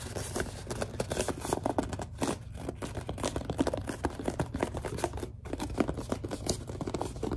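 A large white plastic Suave lotion bottle is gripped so it squeaks, while long dark nails tap and scratch across it. Dense, rapid clicks and squeaky rubs run continuously with brief pauses, over a steady low hum.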